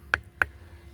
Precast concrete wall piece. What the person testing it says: Picket যেহেতু অনেক পোড়া হয়, বেশ শক্ত হয়। টনটনে শব্দ। অনেকটা পাথরের মত।